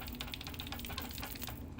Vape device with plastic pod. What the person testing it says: There's no like rattling even from the pod when you shake it.